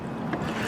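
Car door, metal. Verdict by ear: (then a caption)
Full. Water sloshes inside a metal passenger-side car door as the door is moved, producing a short, steady low-to-mid swishing wash with little high end. The door is retaining water because its drainage holes or plugs are clogged, so new drainage holes are needed.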